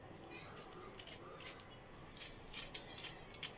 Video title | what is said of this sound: तेल न वापरता बनवा कुरकुरीत साबुदाणा वडा. Sabudana vada in air fryer. fasting recipe. | किती छान कुरकुरीत आवाज येतो आहे